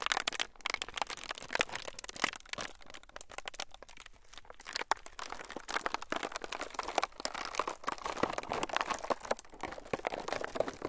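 A thin, clear, crinkly plastic film sheet is stretched and squeezed between the fingertips of both hands close to the microphones. It makes a dense, continuous run of sharp crinkles and crackles, bright and crisp with almost no low end. Each crackle cuts off quickly, and the rustling swells and eases throughout.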